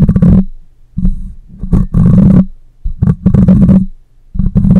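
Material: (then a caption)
Metal mesh. The metal mesh grille on top of a black microphone is scratched with fingernails and rubbed with the hand. This produces repeated deep, boomy, rumbling bursts of friction noise with a roar-like low hum around 190 Hz. Each burst swells and fades back into near silence between strokes.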